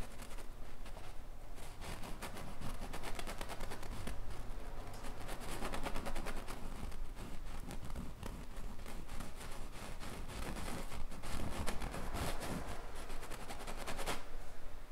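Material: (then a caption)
Canvas. A thin, fine-tipped paintbrush strokes and rubs short lines across a large, taut stretched canvas painted with a bison's face. The result is a steady run of soft, dry brushing and scratching sounds with a low rumble underneath.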